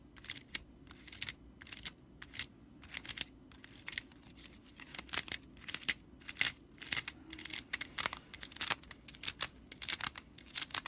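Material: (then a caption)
Broomcorn straw. Fingertips and nails scratch the bundled dry straw of a broomcorn whisk broom with a red-stitched straw body and a metal ferrule near the handle. Quick, bright, crackly scratches and dry rattles come in irregular bursts throughout, each dying away almost instantly, with very little low end beneath them.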